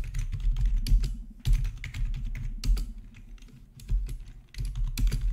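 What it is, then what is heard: Plastic membrane keyboard. Both hands type with their fingertips on the black plastic backlit keycaps of a plastic RGB gaming membrane keyboard resting on a marble surface. The result is a steady run of soft, quick keystrokes with a deep, dull thump under each press and faint bright clicks on top. The typing swells in brief bursts and eases off between them.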